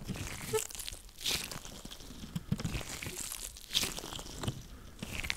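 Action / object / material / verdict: scrape / latex rubber gloves on hands / latex / none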